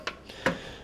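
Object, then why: Small ratchet with plastic body. A small plastic ratchet from a Harbor Freight 301-piece tool set, with a plastic drive switcher, gives three light, dry ticks. The clicks are thin and hollow, unlike the ring of the metal ratchet in the same set.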